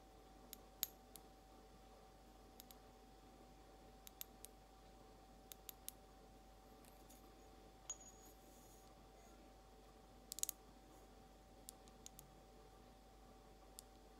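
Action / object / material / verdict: tap / glazed ceramic egg cup tapped with fingernails / ceramic / none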